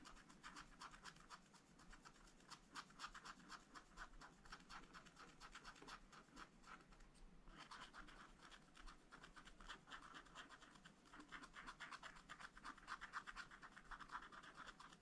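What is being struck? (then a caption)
Wax-coated scratch-art paper page. A wooden stylus scratches white blossoms into a black, wax-coated scratch-art page in a small spiral-bound pad of thin, flat paper. The quiet, fast, uneven strokes make a dry, bright rasp centred near 1 kHz, with a brief pause around the middle before the scratching resumes.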